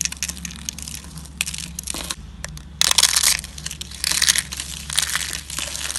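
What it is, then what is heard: Dry, brittle bar soap being crushed. Fingertips press and crush a flat, solid, dry pink soap slab, already scored into strips and partly shattered, snapping off brittle flakes that scatter on a white surface. Dense, bright crunching and crackling snaps run throughout, with louder bursts of crumbling in the middle and later stretches.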